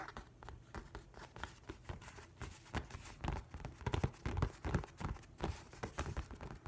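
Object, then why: Hardcover book with paper cover. Spread fingertips and nails rub and scratch across the paper surface of a large, flat hardcover book with a printed nautilus cover. The result is a steady run of short, irregular scratchy brushing strokes with a soft, dull low-end thump, swelling louder near the middle of the clip.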